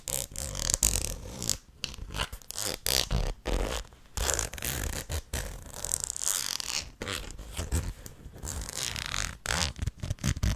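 Long nails scratch along the ridged edge of the red plastic lid on a medium white plastic tub and tap on its top. The result is a busy run of short, raspy scratching bursts with bright texture and low thuds, broken by brief silent gaps, with quick, dry taps that die away almost at once.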